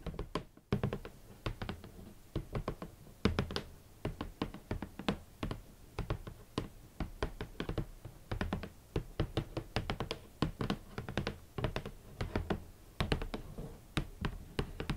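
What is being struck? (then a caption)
Closed cardboard shoe box. A large, closed, hollow red cardboard Valentino boot box is tapped on its lid with long nails and fingertips. The result is a steady run of short, dull, knocking taps with a low thud around 78 Hz and a quick decay. A few brighter clicks come through over the clip.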